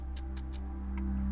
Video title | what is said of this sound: RiverTales: Behind the Scenes - A Georgia Outdoors' Special | it sounds like metal I bet this thing is so strong